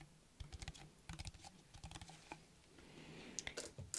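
A small, hollow, clear plastic bottle with a white cap and a printed label is held in one hand and tapped quickly with the fingernails of the other. The result is quiet, bright, clicky taps in irregular bursts that sound like typing on a keyboard.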